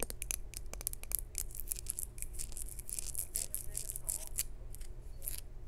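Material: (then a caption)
Glazed ceramic. Long nails tap rapidly across a small, hollow, maroon glazed ceramic jar with a lid and a textured surface. The taps make a quick run of short, bright, dry clicks and scratchy ticks with almost no ring. A steady low hum sits underneath.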